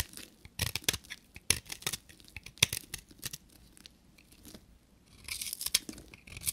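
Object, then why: Bar of soap scraped with a small metal blade. A short metal knife blade shaves the edges of a solid, pink dry bar of soap, and fine powder comes off. Crisp, bright scraping and crunching strokes come in quick irregular bursts, with dry, airy rasps between them and brief quiet gaps.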